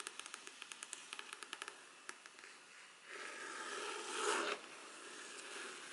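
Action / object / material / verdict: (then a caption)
tap / faux leather covered hard folder / faux leather / none. Long black nails tap a black faux-leather hard-cover folder, first held upright and then laid flat, producing about sixteen quick, sharp, bright clicks over the first two seconds. The nails then scratch across the cover in a broad, rasping scrape that swells and cuts off, leaving a soft, quiet hiss.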